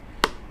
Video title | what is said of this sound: How to check ID's at the bar. What to look for when checking ID's. Training video on checking Id's | should have a ring to it